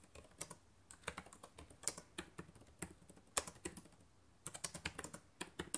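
Fast typing with fingertips and long nails on the plastic keys of a black laptop keyboard. Quick, dry clicks and taps come in rapid bursts with short pauses, each hit sharp and bright with almost no ring.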